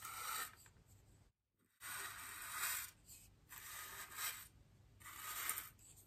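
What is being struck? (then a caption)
Polystyrene foam ring brushed with a bristle brush. A bristle paintbrush with a wooden handle is swept across the surface of a large, solid white polystyrene foam wreath ring while the other hand rests on the ring. Four bright, airy scratching strokes are heard, with a brief silent gap after the first and quieter rubbing between them.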